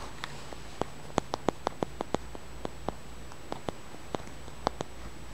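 A small, flat, solid, milky-white translucent polished stone, possibly selenite, is held in the fingers and tapped and scratched with the fingernails. About sixteen short, dry clicks with almost no ring stand out over a quiet, low hum.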